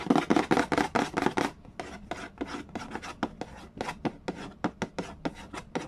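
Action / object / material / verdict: tap / printed cardboard game box / cardboard / none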